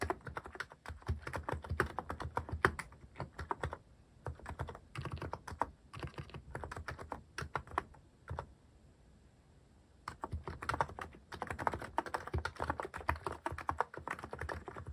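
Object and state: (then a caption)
Mechanical keyboard with plastic keycaps. Fingertips type steadily on a cream plastic-cased mechanical keyboard fitted with cat-themed plastic keycaps. Dense runs of short, muffled clacks with a soft low thud come in bursts. A brief pause near the middle gives way to faster, louder typing.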